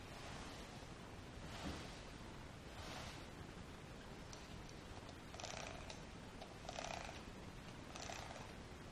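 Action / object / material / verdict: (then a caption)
scrape / cotton terry towel rubbed with a lint roller / cotton / none. A handheld lint roller with a sticky paper roll is rolled back and forth across a large, flat, white cotton terry towel lying folded on a table, while the other hand holds the towel flat. The rubbing and rolling make a steady, soft, breathy rustle with low rumble beneath it. Brushy swells appear early on, and bright, crackly sticky-peel bursts come in the second half.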